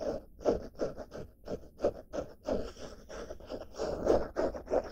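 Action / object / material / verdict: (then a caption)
scrape / padded denim fabric bag / denim / none. Long black-painted nails scratch the surface of a padded, medium-size blue denim-fabric pouch bag held in both hands. Quick, uneven strokes of about three per second make a soft, raspy scratching with a dry, mid-toned texture and a faint bright edge. Each stroke stops almost at once.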